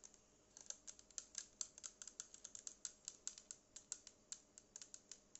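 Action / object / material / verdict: tap / small plastic portable speaker / plastic / none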